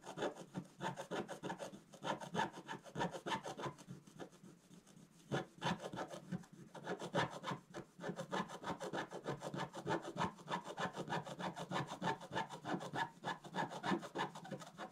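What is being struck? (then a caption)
Black-coated scratch-art paper card scratched with a wooden stylus. A wooden stylus scratches in long strokes across a flat, black-coated scratch-art paper card. The result is a steady run of dry, rhythmic rasping and scraping, about three strokes per second, with a few brief pauses between bursts.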